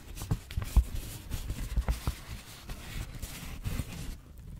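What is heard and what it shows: A thin, already creased white paper sheet is held between both hands with long natural nails, stretched, then folded and crumpled with the fingertips. Soft, close, muffled crinkles and rustles come in quick irregular bursts, with a few sharper crackles and a louder crackle at the very end.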